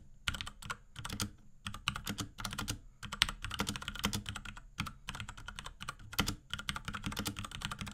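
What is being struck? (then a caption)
Plastic mechanical keyboard. Fingertips of both hands type rapidly on a small pink Akko X Ducky 3084 mechanical keyboard with plastic keycaps and case and Cherry MX Brown switches. Dense bursts of short, bright plastic clacks come in quick runs with a soft low thud beneath each press. Brief pauses separate the runs.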